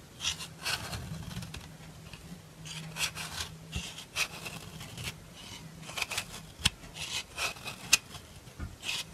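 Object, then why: Bar of soap scraped with a metal nail file. A solid white rectangular bar of soap, held in the hand, is scraped along its edge with a black metal nail file, shedding white powder shavings. Irregular, bright, dry rasping strokes repeat throughout, with a few sharp ticks, over a faint low hum.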